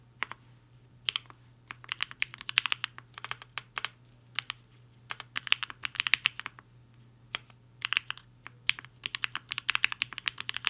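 A compact mechanical keyboard with a black case and white and pink plastic keycaps, resting on a desk mat, is typed on quickly with the fingertips of both hands. Bursts of fast, bright, crisp clacks come in uneven runs with short pauses between them, each keystroke snapping off almost instantly. A faint low steady hum sits underneath.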